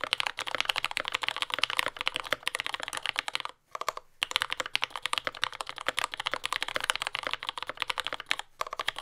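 A compact J-01 mechanical keyboard with lubed yellow Gateron Ink switches, dark brown plastic keycaps and a carbon fiber plate, resting on a desk mat, is typed on continuously with the fingertips of both hands. Rapid, crisp keystrokes pile into a dense, bright clatter centered near 3 kHz, each tap short and dry with almost no low end. The typing breaks briefly around the middle of the clip and again near the end before resuming.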